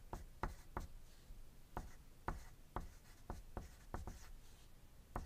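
A wooden graphite pencil writes on a thin white paper sheet resting on a desk, making quiet scratching strokes throughout. Eleven short, sharp tapping strokes stand out from a soft, low scratchy background, each dying away almost at once.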